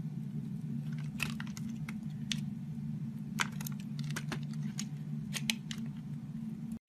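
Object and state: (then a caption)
Bar soap being carved. A metal box-cutter blade shaves thin layers off the edge of a solid purple oval bar of soap held in the hand. Crisp, bright scraping crackles and ticks come in quick bursts over a steady low hum, and the clip cuts to silence at the very end.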